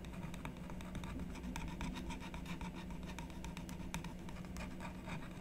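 A wooden stylus scratches and rubs the coating off a flat black-coated scratch-art card resting on a wooden table, while the other hand steadies the card. The result is a steady, continuous dry scratching with many quick, bright strokes over a constant low hum.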